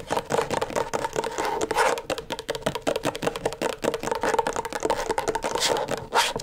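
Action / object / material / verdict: tap / plastic LED tracing pad / plastic / none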